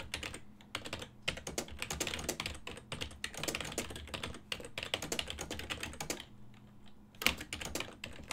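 Fingertips press the keys of a full-size black and silver plastic desktop keyboard with a hollow housing in rapid, continuous typing. The bright, short clacking taps come in dense bursts, with brief pauses near the start and a quieter stretch before a final sharp tap. A faint low hum sits underneath.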